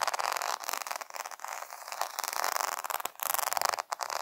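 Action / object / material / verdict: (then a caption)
scrape / plastic rhinestone sticker sheet / plastic / none. Fingertips and nails tap and scratch quickly over a flat plastic rhinestone sticker sheet covered in rows of small multicolored faceted rhinestones, lying on a woven fabric. The result is a dense, rapid stream of crisp clicks and gritty scratching, centered in the mid range with bright high sparkle and no low end, broken by a few brief pauses.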